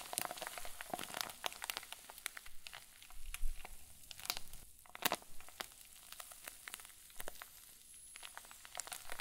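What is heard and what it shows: A clear plastic zip bag full of white fluffy filling is twisted and squeezed with both hands. It gives a steady run of soft, irregular crinkles and crackles, with sharp bright ticks over a quiet, muffled rustle.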